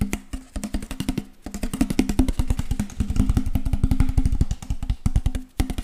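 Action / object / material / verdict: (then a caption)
tap / plastic water bottle / plastic / none. Fingertips and nails rapidly tap and scratch the body and cap of an empty, hollow clear PET water bottle with a teal label while it is turned in the hands. The result is a fast run of sharp, dry plastic clicks over a hollow, low resonant tone around 200 Hz, with brief scratchy rustles in between.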